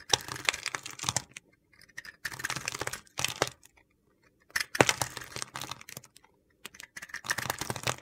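A solid white soap bar coated in black glitter is shaved and chipped with a metal utility knife blade held in hand. Bursts of crisp, dry scraping and gritty crunching come in short runs separated by brief pauses, bright and hissy with little low end.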